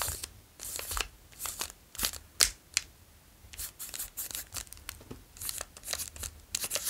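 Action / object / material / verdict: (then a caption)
scrape / plastic chocolate bar wrapper / plastic film / none. A long, solid Daim Caramel Latte chocolate bar in a plastic wrapper is held in the hands, tapped and traced with fingertips, and crinkled. Bright, crisp crinkles and short taps come in quick irregular bursts with brief pauses, mostly high and airy with little low end.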